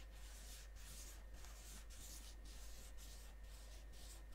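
Fingertips and nails rub and scratch the face of a flat, rectangular, medium-size gold-printed Lindt Champs-Élysées cardboard chocolate box that is likely full. Soft, steady, bright scratching strokes come in repeated passes over a constant low hum.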